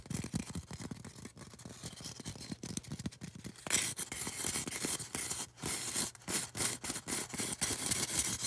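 Long orange nails scratch and tap a solid white polystyrene foam cone, making quick, irregular scratchy taps. It starts as softer low scratching, then turns brighter and louder partway through with dense, high, hissing scrapes between the taps.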